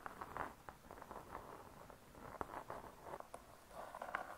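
Long nail tips tap and scratch the closed laminated board cover of a spiral-bound hardcover cookbook. Soft, quick taps sit over a steady scratching texture, with sharp, short clicks standing out near the middle and end.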